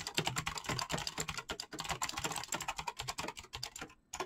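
Fingertips of both hands type fast, continuous key presses on a backlit mechanical keyboard with clicky green switches and pastel PBT plastic keycaps. About 32 bright, sharp clicks come in a quick, uneven run, each with a short low thock underneath. The typing briefly stops near the end before one last keystroke.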